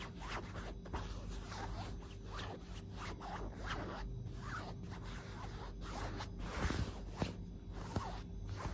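A fingertip and a long nail scratch along a white, puffy quilted fabric duvet and its seams, making soft, raspy scratching and rustling strokes. A steady low hum runs underneath, and a few slightly sharper scratches stand out near the end.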